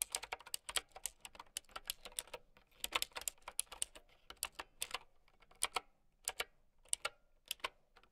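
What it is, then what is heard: Plastic mechanical keyboard. Long nails type on a plastic mechanical keyboard with round keycaps, producing quick, bright clicks and clacks with almost no low end. The keystrokes come in a dense, rapid run for the first five seconds, then thin out into slower, more widely spaced taps, each cutting off almost instantly.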